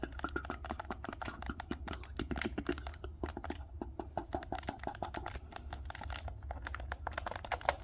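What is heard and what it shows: A dark green plastic Nintendo Switch Pro controller is held in both hands while thumbs tap and click its buttons and sticks. The result is a steady stream of quick, dry plastic clicks and taps with short bright transients over a low hum.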